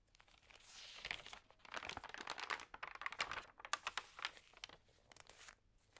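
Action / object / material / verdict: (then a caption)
scrape / thin paper magazine pages / paper / none. A large open magazine with thin, damp pages lies on a table while flat hands with long nails press, rub and turn the pages. The result is a dense stream of bright crinkling and crackling with short rustling swells and quick sharp ticks. There is almost no low end.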